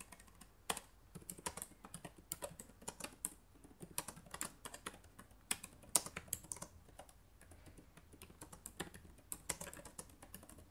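Fingertips with painted nails type quickly on the plastic keys of a black laptop resting on a wooden table. A rapid, uneven stream of short, bright clicks and taps continues throughout, each dying away almost instantly over a faint background hiss.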